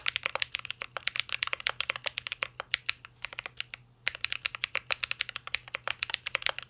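Fingertips of both hands type steadily on a mint green Cyberboard R3 mechanical keyboard with a metal case and plastic keycaps, producing dozens of quick, bright clicks and clacks with almost no ring. There is a brief pause in the typing around the four-second mark before it resumes.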